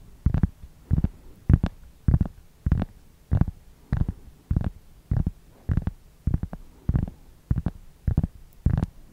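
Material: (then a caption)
Cork. A large, round, flat cork board or trivet, thin and solid, is held upright close to the microphone while its surface is scratched and rubbed with fingertips and nails. The result is a steady series of short, dull, low rumbling scrapes, about one every 0.6 seconds, with faint brighter scratchy edges. Each burst stops dead with no ring.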